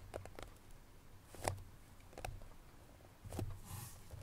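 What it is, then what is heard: Cardboard perfume box. Long natural nails tap in a light, irregular patter on the top of a small cardboard perfume box lying flat. Each tap is a soft, dull click with a low papery thump and a brief bright edge that dies away almost at once, over a quiet background.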